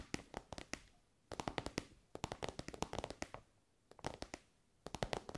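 An elongated, soft pencil case covered in shiny pink synthetic fabric is tapped with long nails. Quick bursts of sharp, dry taps are separated by brief pauses, each tap crisp and bright with almost no ring.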